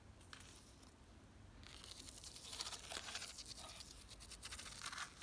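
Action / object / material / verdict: scrape / ribbed plastic planter box / plastic / none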